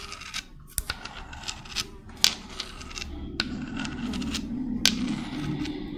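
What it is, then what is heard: Spiky seashell scratched with nails. Long red nails scrape and scratch a small, hollow, white spiral seashell with spiky ridges and brown spots. Irregular sharp, bright clicks and ticks sit over a dry, scratchy rasp. From about the halfway point, a steadier, lower rubbing texture builds underneath.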